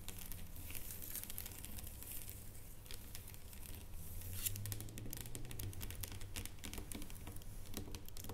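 Long nails tap fast across a solid dark chocolate bar lying flat, like typing. The result is a quiet, irregular stream of crisp clicks over a low, steady hum.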